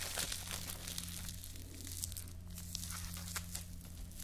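Fingertips with long nails squeeze and crinkle a small crumpled ball of clear plastic cling film. Bright, crackly crinkles come in quick, irregular bursts over a steady low hum.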